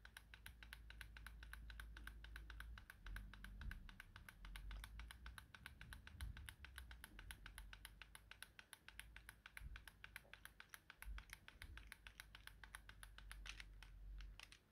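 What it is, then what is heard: Plastic game controller buttons being tapped. A small yellow plastic Nintendo Joy-Con controller is held steady while a fingertip rapidly taps and clicks its buttons, possibly with some scratching. A fast, steady stream of short, sharp plastic clicks with bright edges runs through the whole clip over a low, rumbling background.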